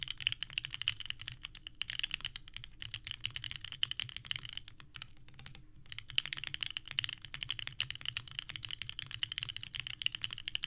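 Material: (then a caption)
ABS plastic. Both hands type rapidly with the fingertips on a small 65% mechanical keyboard with a purple case and white GMK ABS keycaps on an FR4 plate, resting on a desk mat. The result is a dense stream of sharp, clacky key presses with a bright click centered near 3 kHz. There is a brief lull in the typing around the middle before it picks up again.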